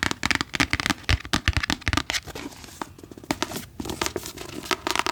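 Fingers tap quickly on a book in a rapid, uneven series of short, dry taps that shift between deeper and lighter tones as the finger position changes.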